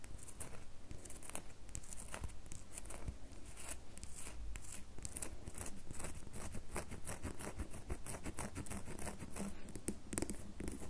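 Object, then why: Bar of soap. A solid red bar of soap is held in the fingers while fingernails scratch rapidly across its surface. The result is a steady, dense stream of dry, crisp scratches and ticks with bright, short transients over a low, soft rumble, holding a fairly even level throughout.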